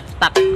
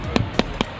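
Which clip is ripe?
The second.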